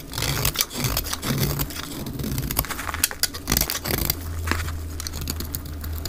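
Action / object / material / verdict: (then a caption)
scrape / bar of soap shaved with a blade / soap / none. A utility knife blade held in the fingertips scrapes and shaves a solid, dry, white rectangular bar of soap. It makes a dense run of dry, crackly, bright scraping strokes with sharp peaks, over a steady low hum that grows more prominent near the end.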